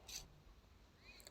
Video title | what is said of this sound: हरा भरा कबाब - वेज कटलेट - Hotel Style Hara Bhara Kabab Recipe - Veg Kabab | असा कुरकुरीत आवाज येतोय वरून